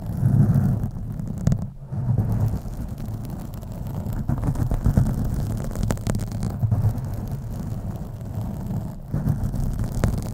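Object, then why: Foam microphone windscreen. Fingernails scratch slowly across both sides of a black foam microphone windscreen, producing a deep, muffled rumbling rustle centered around 105 Hz. The scratching runs almost continuously, with brief quiet dips near 1.8 and 9 seconds.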